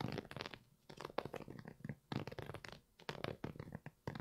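Fingertips and nails scratch and rub the knit upper of a single empty, hollow grey and red Primeknit textile Yeezy 350 V2 sneaker with a boost sole, held up in one hand. The result is quiet, dry, scratchy rustling in bursts of rapid strokes, separated by brief near-silent pauses.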